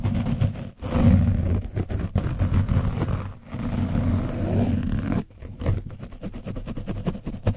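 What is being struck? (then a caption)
Foam microphone windscreen coated with dried paint. A foam paint brush is rubbed aggressively over an orange foam microphone windscreen coated with dried paint. It makes a deep, rough, rumbling scrape in continuous strokes, broken by brief pauses, with faster choppy scratches toward the end.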